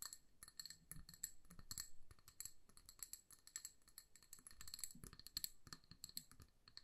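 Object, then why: Glass jar filled with candle wax. Long nails tap rapidly on a hand-sized amber glass jar filled with candle wax and wrapped in a paper label. The taps make quiet, quick glassy clicks with bright, high chiming tones over soft low thumps. Each tap dies away almost at once.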